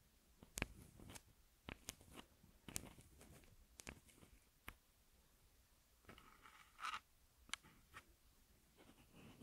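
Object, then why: Plastic handheld audio recorder with metal mic heads. Long manicured nails scratch and tap the metal microphone capsules and the top of the hollow plastic body of a small red Tascam handheld audio recorder, held in one hand while it records itself. Twelve sharp, close-up clicks and taps stand out against soft scratching and rustling, with brief bursts of brighter scraping in between.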